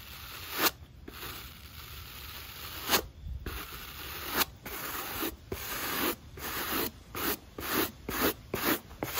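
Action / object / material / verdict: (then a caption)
scrape / rubber and foam sneaker sole / rubber / none. A black rubber sneaker outsole and foam midsole, held in the hand, are scrubbed with a natural-bristle wooden brush. Dry, bright scratching strokes come in bursts separated by short pauses, growing quicker and more regular toward the end.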